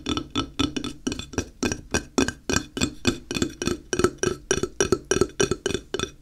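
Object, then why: Flat ceramic tile. A handheld, solid, flat square grey ceramic tile is tapped with fingertips on its face and edge. It makes a quick, uneven run of short, dry clinking taps at roughly three per second, each with a bright click over a low tone near 360 Hz that dies away almost at once.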